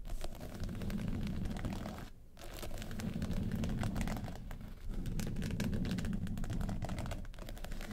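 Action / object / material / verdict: scrape / small hard case covered in faux leather / faux leather / none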